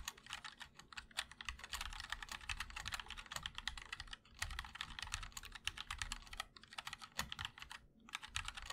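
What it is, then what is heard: Mechanical keyboard typing. Fingertips of both hands type continuously on a MOD-L 60% mechanical keyboard with linear switches, an aluminum black case, and white and black ABS keycaps. It produces a dense stream of short, bright, clacky keystrokes with almost no ring. Brief pauses come near 4.2, 6.5 and 8 seconds.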